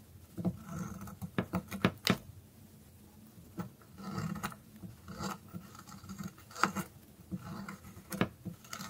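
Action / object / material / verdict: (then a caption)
scrape / soap stick scraped with a metal blade / soap / none. A metal blade whittles and scrapes the pointed end of a thin, solid, dry orange soap stick held in the hand. Short, dry, crisp scrapes and sharp little clicks come in irregular bursts over a soft, low rubbing.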